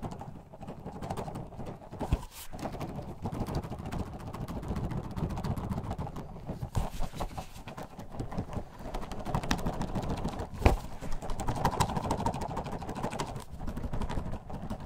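A clear plastic bottle with a white cap, about half to two-thirds full of purple orbeez water beads, is held in a black-gloved hand and shaken close to the mic. It produces a continuous, dense, soft rattling and sloshing, mostly low and muffled, with a few sharper knocks standing out near 2 and 10.7 seconds.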